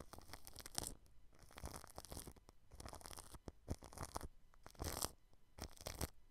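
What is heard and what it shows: A paintbrush brushes clear cling film wrapped over the grille of a white microphone. Repeated bursts of close, crinkly, scratchy rustling with bright hiss and soft low thumps rise and fall in uneven strokes.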